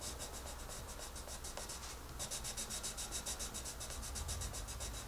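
A wooden colored pencil is rubbed quickly over a paper coloring book page in dense coloring strokes. The strokes sound like rapid, bright, scratchy hisses over a steady low hum, softer and blurred for the first two seconds, then louder and more distinct, at roughly three to four strokes per second.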